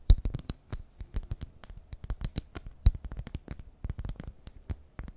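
Long nails scratch and tap a honeycomb-print beeswax cloth food wrap held in the hands. The result is a quick, uneven run of dry, crinkly scratches and sharp taps, each with a soft low thump and a bright crackle on top. Every sound dies away at once.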